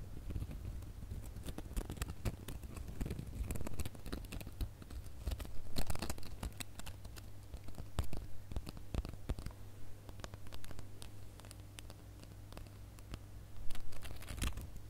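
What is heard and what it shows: Fingernails scratch along the ridges of a gold glitter plastic star ornament held up close, producing a dense run of quick, dry scratches and crackly ticks. A steady low hum sits underneath throughout, with a few louder bursts of scraping along the way.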